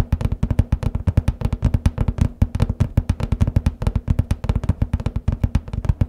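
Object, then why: Cardboard paper box lid. Nails and fingertips tap rapidly on the centre of the hollow lid of a large cardboard copy paper case, making about 46 quick, evenly spaced hits over six seconds. Each tap is a dull, hollow thump with a low boom around 90 Hz and a faint clicky edge, dying away almost at once.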